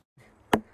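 A single knock on the trunk of a roughly 400-year-old Douglas fir in Stanley Park, struck by tree experts checking where the tree becomes rotten and how deep the decay goes. The knock gives a short, sharp woody thud with a pitch around 220 Hz. It dies away almost instantly over a faint background hum.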